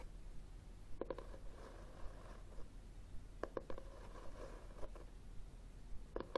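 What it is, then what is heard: Cloth-covered hardcover book, tapped. A solid red textured cloth hardcover book stands upright on a table and is tapped and scratched on its back cover with fingernails. Quick clusters of short, dry taps with a faint hollow tone near 530 Hz come around one, three and a half, and six seconds. Soft scratching and a low background rumble fill the gaps between them.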